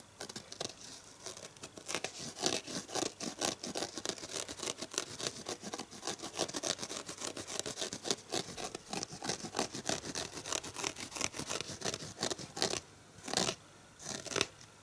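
Fingernails rapidly scratch the rough green abrasive scouring pad of a dish sponge with a red foam edge, held in one hand. It makes a dense run of quick, bright, dry rasping strokes with very little low end. The scratching continues steadily for about 15 seconds, with brief pauses near the end.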